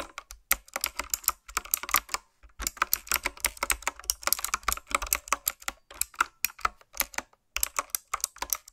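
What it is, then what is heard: Mechanical keyboard with round plastic keycaps. Fingertips with long nails type on a retro-style mechanical keyboard with round plastic keycaps. The result is a rapid, uneven stream of short, bright, clicky keystrokes broken by brief pauses. Each click is sharp and dry, with almost no ring and little low end.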